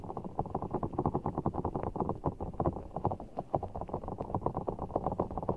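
A full, giant Orbeez ball, a large soft ball of blue water gel beads in a clear rubber skin, is held over the mic while fingertips squeeze and scratch it. This produces a steady run of quick, squishy, wet clicks and soft rumbles. The sound stays mostly low and mid-range with no bright top.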